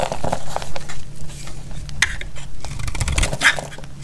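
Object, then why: Bar of soap cut with a metal blade. A solid bar of dry red soap held in the hand is shaved and cut with a metal utility blade, flakes breaking off as it scrapes. A steady run of short, dry scraping and crisp crackling clicks rises and falls over a low background rumble, with a few sharper bright snaps near the end.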